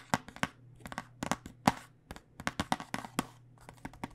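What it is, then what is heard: Plastic dice tube tapped with fingernails. Long fingernails tap the plastic surface of a clear plastic tube full of dice, with a cardboard end, held horizontally. A quick, uneven run of sharp, clicky taps sounds, each crisp and bright with almost no ring, some louder than others, over a faint steady low hum.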